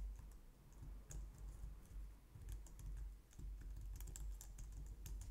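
Long painted nails and fingertips type on a low-profile white/light-grey plastic wireless keyboard resting on a glitter mat on a wooden desk. A quiet, steady run of short, bright plastic taps and clicks comes in uneven bursts over a constant low rumble.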